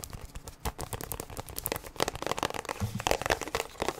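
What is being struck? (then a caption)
Plastic sunscreen tube. A plastic sunscreen tube, held upright and then sideways, is tapped and scratched with long nails. Quick, dense clicks and crinkly scratching scrapes run throughout, with short bright transients over a light low thud.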